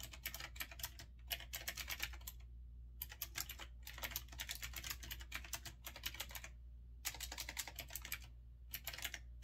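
Fingertips with red nails type quickly on a retro typewriter-style mechanical keyboard with round keycaps. Rapid, bright, clicky keystrokes come in dense bursts separated by brief pauses, each click dying away almost instantly. A steady low hum runs underneath throughout.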